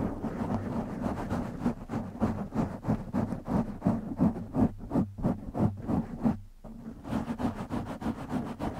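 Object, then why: Foam microphone windscreen. Fingertips of both hands scratch the sides of a black foam windscreen on a silver microphone. The result is a fast, uneven run of rough, close-up scratching bursts, about three per second, with a heavy low rumble. The scratching pauses briefly near the end, then resumes.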